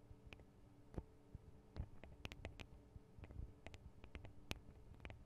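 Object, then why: Metal microphone guard arms on a handheld recorder. Long acrylic nails tap on the thin metal microphone guard arms and capsules of a Tascam DR-40 handheld recorder. The result is a quiet series of short, dry clicks and ticks with bright metallic edges over a low hum, with no ring after each tap.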